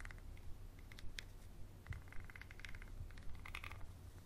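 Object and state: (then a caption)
Textured glass bottle. A small textured glass bottle with a paper label and black cap, held on its side, is scratched and tapped with a wooden pencil near the label. Light, bright clicks and scratchy taps come at an uneven pace over a quiet, steady low hum.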